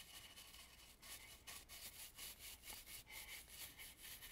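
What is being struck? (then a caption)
Carved wooden mask. A dry bristle brush sweeps across the carved relief along the edge of an antique red and gold carved, painted wooden mask. Quiet, bright, scratchy brushing strokes repeat at a steady, slightly uneven pace, with almost no low end.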